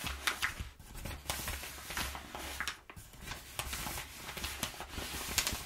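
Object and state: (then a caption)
Crumpled kraft paper being rubbed and scratched. Flattened, crumpled kraft packing paper lies on a wooden table while hands rub it and long nails scratch across it. Bright, crackling rustles and sharp scratchy bursts rise and fall over a faint low hum, giving a dry, crinkly texture throughout.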